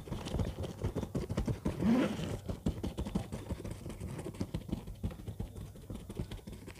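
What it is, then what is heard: Faux-leather bag scratched with fingernails. Long fingernails scratch the surface of a large orange textured faux-leather bag with zippers lying flat. A dense, irregular stream of soft, dull scraping strokes follows one another quickly, mostly low and muffled, with one louder swell of rasping near the two-second mark.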